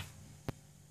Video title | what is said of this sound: How to Repair Your O Cosmedics Serum Bottle If It Gets Broken? | if you give it a shake there's no rattle that one's fixed